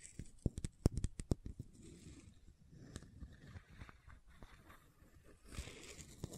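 Long nails tap and scratch the side and label of a hollow white plastic fish oil supplement bottle. A quick run of sharp, hollow taps comes first, followed by softer, low, dull scratching and rubbing. A brighter scratching burst comes near the end.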